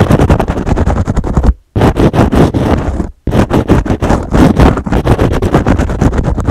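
A foam kitchen sponge with a green scrub pad is held in one hand while the fingernails of the other hand scratch its edge and scrub pad rapidly. The result is a dense, fast run of rough scratching strokes with a heavy low rumble, broken by two brief near-silent pauses.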